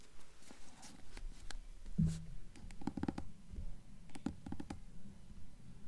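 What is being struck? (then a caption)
Hardcover book spine with paper dust jacket. Long nails tap and scratch along the paper dust jacket on the spine of a hardcover copy of *The Golden Compass*, held upright. The result is a quiet, irregular series of soft, dull taps mixed with faint scratching, mostly low in tone, with each tap dying away quickly.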